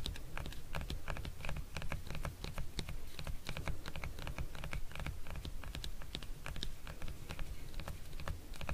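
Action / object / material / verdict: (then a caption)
tap / hard plastic hand-held massage tool / plastic / none. Fingernails tap and scratch the flat surface of a hand-sized, solid lilac hard plastic neck massager held in the hands. Quick, irregular, dry clicks and brief bright scratches sound almost continuously, over a steady low rumble.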